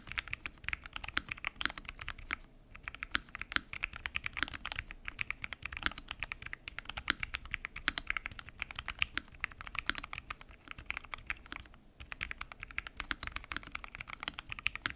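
Fingertips type continuously on a full-size mechanical keyboard with lubed switches, pink and mint PBT keycaps, and a transparent acrylic case. A steady stream of short, bright, dry key clacks is heard with little low end, pausing briefly around 2.5 and 12 seconds.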